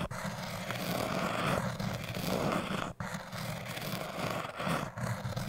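A metal crochet hook is pressed against a tall orange hard foam cylinder and scraped across its surface. The result is a continuous, coarse, scratchy rasp with a low rumbling body and a hissy upper layer. It dips briefly near the middle and swells again in uneven strokes.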